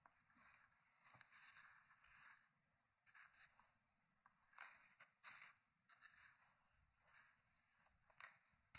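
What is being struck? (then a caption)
Hardcover paper book. Fingertips turn the pages of an open, thick hardcover paper book resting on a wooden table. Quiet, bright papery rustles and crisp flips come in a series of short bursts, mostly high in tone with almost no low end.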